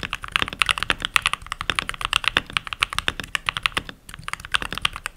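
Fingertips with short nails and rings on the fingers type continuously on a full-size backlit mechanical keyboard with pink plastic keycaps. A rapid, steady stream of crisp, bright plastic clicks centers around 2.6 kHz, with a brief lull near the four-second mark. Each keystroke is dry and stops almost instantly, with very little low end.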